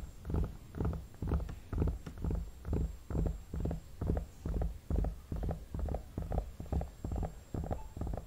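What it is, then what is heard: Vinyl mannequin head. Fingertips and nails tap and stroke the face of a hollow vinyl mannequin head, giving a steady run of soft, dull, low thumps at roughly two per second, each with a brief hollow resonance. The sound stays muffled and bass-heavy throughout, with little brightness.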